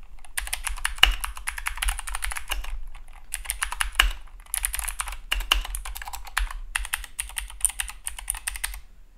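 A compact Keychron K2 (V2) mechanical keyboard with blue clicky switches, dark plastic keycaps and an orange Esc key sits on a desk mat and is typed on continuously with the fingertips of both hands. Bursts of fast, sharp, bright clicks come in irregular runs separated by short pauses, with a low hum underneath. The sound comes mostly from the clicky switches rather than the case material.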